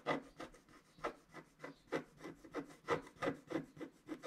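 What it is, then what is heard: Scratch-art card being scratched. A wooden stylus scratches the coating of a flat scratch-art card (black wax-coated paper) while the other hand holds the sheet still. The result is a quiet series of short, dry scraping strokes, about three per second at an uneven pace. Each stroke has a brief mid-range rasp that cuts off quickly.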